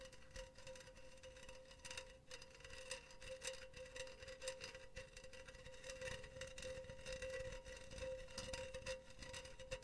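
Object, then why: Wire-mesh metal pen holder. Long teal nails tap and scratch the side of a hollow, empty silver wire-mesh pen holder held upright in a hand. Quiet, rapid metallic ticks and rasping scrapes run throughout over a faint steady ringing tone near 520 Hz, with bright, crisp edges on each tap.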